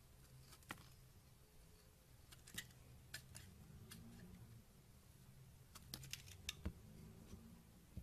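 A yellow utility knife blade shaves curled flakes off a solid pink bar of soap held in the hand. The result is a series of short, sharp, bright scraping clicks spread across a quiet, low background hum.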